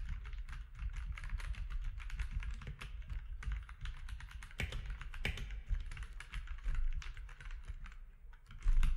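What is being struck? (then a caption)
Plastic mechanical keyboard. Fingertips of both hands type steadily on a compact mechanical keyboard with grey, white and orange plastic keycaps. The result is a dense, continuous run of quick clacking keystrokes with a deep, thumpy body and bright clicky tops. A few sharper strikes stand out, and the typing swells louder right at the end.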